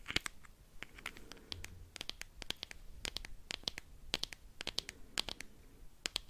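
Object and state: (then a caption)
Plastic rhinestone case. A small round clear plastic compartment wheel case filled with rhinestones is held in the hand and scratched, turned and shaken with the fingernails. Dozens of sharp, bright, dry clicks and scratchy ticks come in quick irregular bursts, with a soft rattle from the stones between them. Each click stops instantly with no ring, over a faint low background rumble.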